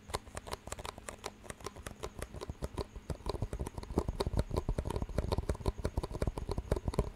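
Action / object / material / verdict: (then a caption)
tap / disposable plastic cups / plastic / none. Fingertips tap two identical clear disposable plastic cups with green rims, hollow and empty, and knock their rims together close to the mic. The result is a rapid, uneven patter of short, dry clicks and taps with a soft low thump under each one. The taps grow louder and denser in the second half.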